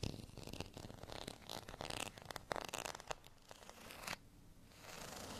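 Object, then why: Ridged plastic rice paddle. Fingernails scratch a beige, ridged, textured plastic rice paddle, which is briefly moved close to the camera. Dense, dry, bright rasping bursts run for about four seconds, then stop abruptly and give way to a softer, steady hiss.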